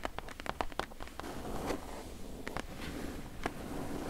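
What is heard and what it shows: Long nails tap and scratch the side panel of a medium, closed, hollow corrugated cardboard shipping box. A quick cluster of sharp, crackly taps in the first second gives way to slower scattered taps over a steady low, hollow rumble and a dry scraping rasp. Each tap dies out almost instantly.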